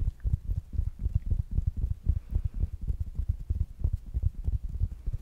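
A small, rounded black smart speaker with a fabric mesh cover is tapped quickly with fingertips and nails. The result is a steady run of soft, dull, low thumps with almost no ring and no bright click.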